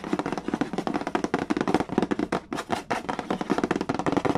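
Fingertips tap and rub fast on the printed cardboard lid of a large, flat, hollow Mastermind board game box. A rapid, steady run of short, dry, hollow taps with a papery scratch carries a muted body low in the mids. The taps die away almost instantly, with a brief pause just past the middle.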